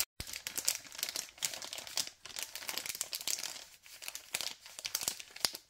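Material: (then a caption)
Plastic film. Thumb and fingers crinkle the other side of a white LDPE plastic packet of cable ties, printed "organize wires... Robovac." After a brief silent start, a dense stream of bright, crisp crackles and rustles plays with almost no low end. Each crinkle dies out instantly.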